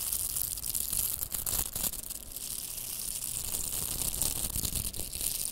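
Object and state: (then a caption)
Velcro plastic hair rollers scratched. Two pink hollow velcro hair rollers, with plastic mesh cores and nylon hook bristles, are held together and rubbed and scratched with long manicured nails and fingertips. The result is a steady, bright, crackly scratching rasp that stays high, with soft low thumps from handling.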